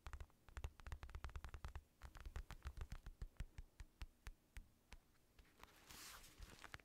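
Fingertips tap and scratch the outer leather of a black, padded synthetic leather boxing glove that is hollow with a red lining. A quick run of soft, dull, low thuds with very short decay is heard, and near the end a brief bright scratching hiss. It is quiet and close throughout.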